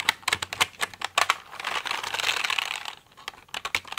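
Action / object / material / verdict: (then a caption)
tap / plastic mechanical computer keyboard / plastic / none. Fingers and nails tap the keys of a pink plastic mechanical computer keyboard, sometimes tilted toward the mic. Sharp, bright plastic clicks come in quick bursts, with a denser, softer rattling wash of rapid taps in the middle before the separate clicks return.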